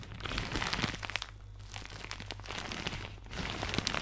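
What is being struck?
Thin plastic shower cap.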